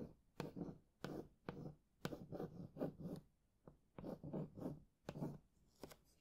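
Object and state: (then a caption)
Cardboard box tapped and scratched with a fingernail. A long painted nail traces and taps along the printed text on the front of a printed cardboard retail box for Sony WH-1000XM4 headphones, lying flat and hollow with the headphones inside. Sharp taps lead into short bursts of low, hollow scratching and rubbing, repeating in quick groups separated by brief pauses. The sound stays quiet and dry throughout.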